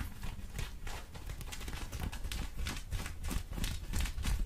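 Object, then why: Cotton denim jeans. Long orange acrylic nails on both hands scratch folded blue cotton denim jeans, a soft fabric held up in the air. The result is a steady, fairly irregular series of quick rasping strokes, about three per second, with a heavy low rumble and brighter scratchy bursts on each stroke. Some mouth sounds may be mixed in.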